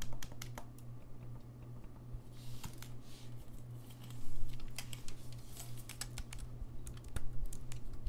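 Fingertips tap and click the keys along the body of a gold-lacquered brass saxophone. The result is a quick, uneven run of light, dry key clicks with short, bright transients over a steady low hum, with a slightly louder burst of clicks near the middle.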